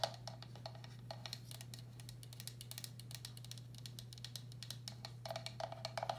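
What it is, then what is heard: Ceramic bowl. A medium, hollow, empty turquoise speckled glazed ceramic bowl has its outer wall tapped with long black acrylic nails in quick, irregular runs. Each tap gives a brief, bright click over a clear mid-pitched ring that dies away almost at once, with the taps growing denser and louder near the end. A steady low hum runs underneath throughout.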